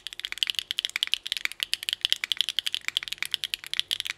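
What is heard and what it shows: A small Nuxros NR6 x VNMK mechanical keyboard with Hyacinth v2u switches, GMK Rainbow ABS keycaps and an aluminum plate is typed on by both hands' fingertips. About 26 quick, crisp keystrokes make bright, dry clacks with almost no low end, each dying away instantly.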